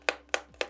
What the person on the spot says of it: se si gratta con le unghie o si batte contro di essa, si sente un po' metallica